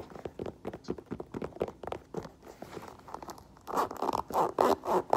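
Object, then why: Faux leather boot with rubber sole. Long nails tap and scratch the smooth upper and side of an olive faux leather lace-up boot with a black rubber platform, making quick, light, dry clicks and scrapes at about four per second. The boot is then turned over and its black rubber tread sole is tapped, producing louder, fuller, short knocks.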